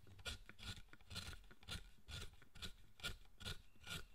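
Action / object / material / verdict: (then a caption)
scrape / wooden statue carved with a chisel / wood / none. A chisel cuts and scrapes the surface of a solid pale wood figure of Zochoten held in the hand while it is being carved. Quick, raspy scraping strokes repeat at a steady rhythm of about two per second, each with a dull low thud under a bright, gritty edge and a faint whistling tone near 1.4 kHz. The strokes die away quickly.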